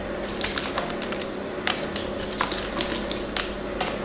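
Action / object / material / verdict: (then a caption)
scrape / bar soap scraped with a knife blade / soap / none. A craft knife blade shaves and scratches flakes off a small solid pink and blue piece of pink bar soap held in the fingers. Sharp, bright, dry scraping clicks and crisp rasps repeat irregularly over a steady faint hiss and low hum.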